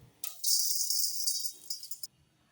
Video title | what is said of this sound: वर्षभर टिकणारे कांदे आणि कांदाकरप .... | सगळा कांदे भाजून घेतला आणि एक 10 मिनिट थंड झाल्यावर बघा कसा असा कुरकुरीत आवाज येतोय